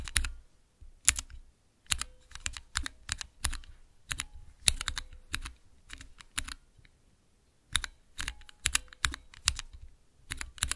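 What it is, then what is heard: Mechanical keyboard switch tester. Fingertips with long nails press the keys of a small multi-key Cherry MX mechanical switch tester with clear, transparent plastic keycaps, typing in bursts. Sharp, bright plastic clicks and clacks come in quick clusters with short pauses between them, each keystroke dying away almost at once.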